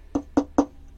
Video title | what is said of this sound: COMMENT GAGNER DE LA PLACE DANS UN CAMPING CAR | c'est trop léger c'est ça sonne creux